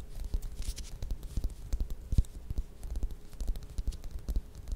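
Long red nails scratch and tap around the textured peel of a small, solid whole orange or mandarin held up in both hands. Quick, dull, close-up taps land in an uneven rhythm, each with a soft low thump, between brief, bright scratchy rustles across the peel.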